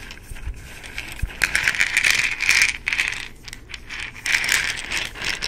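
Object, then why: Plastic pill bottle with contents. An amber plastic supplement bottle with an orange plastic cap has its cap twisted and clicked, and the bottle is shaken so the contents rattle. Bursts of bright, crisp rattling come in uneven clusters, with short clicks and quieter gaps between them.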